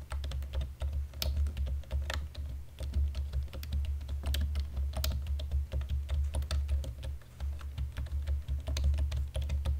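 Both hands type on a black plastic computer keyboard with fingertips and short nails in dim light. A quick, irregular run of sharp, bright key clicks sits over a steady low hum that holds through the clip.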